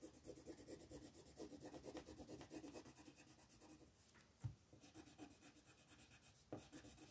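A black wooden colored pencil scratches and rubs back and forth across a paper coloring book page resting on a table, while the other hand, with red nails, holds the page. Soft, rapid, rhythmic scratchy strokes fade to a quieter stretch midway. A couple of sharper low thumps stand out as the pencil presses or taps against the paper.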